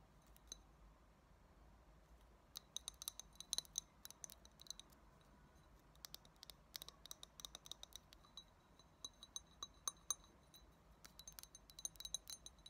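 Long nails tap the sides and rim of an empty small clear glass shot glass with a thick bluish base, producing many quick, bright, ringing clicks. The taps come in irregular bursts over a quiet, faint background, each ending almost at once.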